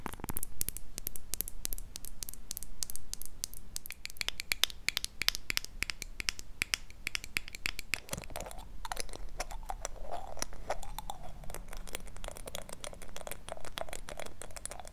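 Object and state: Glass jar mug tapped and scratched with nails.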